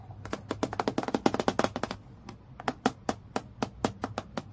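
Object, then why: Acrylic plastic clipboard. Long nails tap rapidly on a transparent, clear acrylic plastic clipboard lying flat on a dark table. The taps are short, dry, clicky knocks with a hollow low-mid tone, coming in a dense flurry before a brief pause around two seconds and then a steadier series of separate taps.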